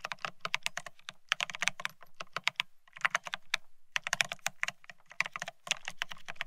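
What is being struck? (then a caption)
Mechanical keyboard with ceramic keycaps on a steel plate. Both hands type rapidly with their fingertips on a Bear65 mechanical keyboard fitted with blank white matte ceramic Cerakey keycaps on a steel plate, resting on white cloth. Dense bursts of crisp, bright, clacky keystrokes come with a low thock under each press, falling into a few short pauses between runs.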